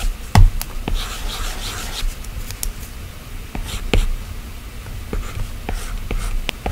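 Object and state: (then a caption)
Glass tablet touchscreen, stylus taps and strokes. A plastic stylus tip scratches and taps strokes across the solid glass screen of an iPad. Soft, dry scraping runs throughout, broken by sharp little ticks as the tip strikes the glass, with a low, dull rumble underneath and faint bright hiss.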